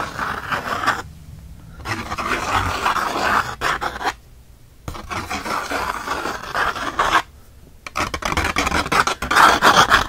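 Fingernails scratch the rough surface of a single thick, textured cotton watercolor paper sheet held in one hand. Heard are fast, uneven, rasping scrapes centered in the midrange around 1.4 kHz with some brightness. They come in bursts broken by three short near-silent pauses, and the last burst is the loudest.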